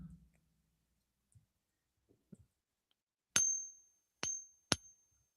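A copper coin is pinged three times on a silver tester to compare how different metals sound. Each strike gives a bright metallic ping with a high tone that rings briefly. Faint low handling knocks come before the strikes.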